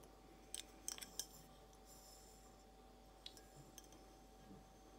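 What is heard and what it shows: Long blue acrylic nails tap a clear, hollow, empty glass vase shaped like a carafe, held in the hand. Seven quiet, bright, short clicks come in an uneven slow pattern: a cluster near the start and sparser taps later. Each click dies away almost instantly over a faint steady hum.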